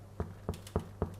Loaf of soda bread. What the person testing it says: Ça sonne creux, enfin ouais, ça sonne creux. C'est qu'il est cuit.